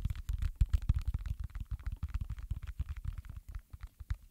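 Fingertips press and pop the hollow bubble domes of a round, flat, space-themed soft silicone pop-it fidget toy held in both hands, also tapping its surface. The result is a rapid, uneven series of short, dull, muffled thumps and soft pops, deep and bassy with almost no high end and no ring after each press.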